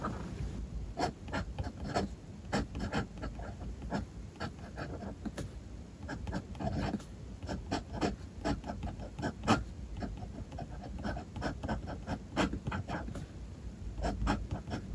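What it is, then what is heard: Fountain pen writing on paper. A gold-trimmed steel fountain pen nib scratches across a white paper sheet on a desk, writing small characters. Many short, crisp scratches and taps ring out over a soft, low rustling bed, with brief pauses between strokes.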